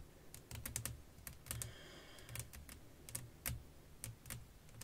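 Long nails tap rapidly on a flat, clear glass sheet laid over lace fabric, making quick, bright clicks with short, dry decays over a low background rumble. The taps come in irregular clusters rather than a steady rhythm.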